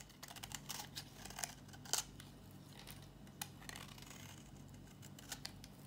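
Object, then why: Bar soap scraped with a metal blade. A solid, dry pink bar of soap held in the hand is scraped with a metal box-cutter blade. The sound is a quiet run of short, crisp scratches and ticks, mostly bright and high, over a faint low hum. The sharpest scrape lands near two seconds, and the rest stay lighter and irregular.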